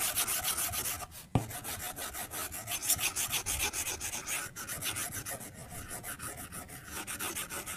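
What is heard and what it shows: A white plastic stylus held in the fingers taps and rubs across the glass touchscreen of an iPad lying flat on a white desk while drawing in Procreate. Rapid, uneven scratchy strokes with a bright, hissy edge run throughout, broken by one sharper tap just after the first second.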